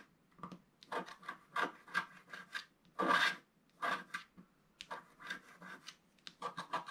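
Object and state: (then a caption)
Scratch-art paper sheet. A wooden stylus scrapes small areas along the bottom of a flat coated scratch-art paper sheet. Quick, dry, raspy scratching strokes come in short bursts separated by brief pauses, with one longer, louder scrape near the middle.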